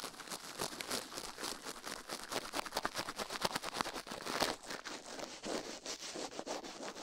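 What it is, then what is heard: Silicone ear brushed with a toothbrush. A toothbrush rubs and brushes against the silicone ear of a binaural microphone. The result is a fast, steady run of dry, scratchy bristle strokes, each a short bright burst with little low end. It sounds like close, crisp scraping and rustling.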